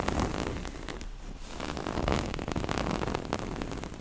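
Long nails scratch a small, soft, hollow floral-print cloth pouch and run along its black zipper edge. The result is a continuous dense, crackly scratching with a heavy low rumble and brief bright ticks, briefly softening at about one second before building again.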